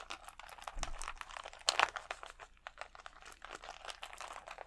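Fingertips scratch across a large clear plastic rhinestone sticker sheet of small acrylic gems held against the chest. The result is a steady run of quick, dry, bright crinkling and clicking scratches, with a louder, sharper burst a little before the two-second mark.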